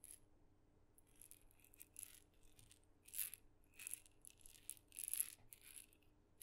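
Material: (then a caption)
Wood. A single small, hollow, painted wooden mini maraca, red with dots, is shaken and tapped with fingernails close to the microphone. It makes quiet, bright, dry rattling bursts of varying strength, each dying away almost instantly, over a faint low background hum.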